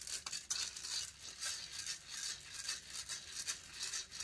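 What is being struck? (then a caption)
Metal mesh microphone grille. Long fingernails scratch quickly across the hollow metal mesh grille of a silver condenser microphone. The result is a dense, bright, hissing scrape in uneven rapid strokes, with almost no low end.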